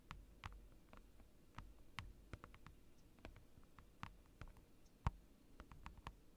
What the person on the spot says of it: It's like a giant rectangle of acrylic, and it makes incredible tapping sounds.